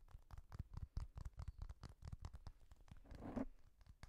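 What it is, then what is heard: Plastic pop-button fidget toy. A small, hollow, orange-yellow translucent plastic pop-button fidget toy, a bar with a row of round press-in domes, is held in the hands while fingertips and nails press and click the domes and tap its surface. A rapid run of short, dull, low-heavy clicks and taps stops dead with no ring, and a brief scratchy rub swells near the end.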